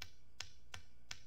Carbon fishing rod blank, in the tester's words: kahit pitikin ko po siya, hindi po siya yan, solid po siya